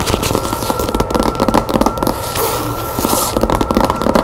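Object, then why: Cloth-bound hardcover book. Long nails rapidly tap and scratch the cover of a red cloth hardcover book with a gilt-lettered spine resting on a table. The result is a dense, fast run of dry, crackly clicks and scratchy rustles at a fairly steady level, with a faint steady tone running underneath.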